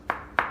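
Two taps on a ceramic kitchen floor tile set on a concrete slab produce short, solid clicks centered around 950 Hz that die away almost at once. The dull, tight response shows the tile is well bonded rather than hollow.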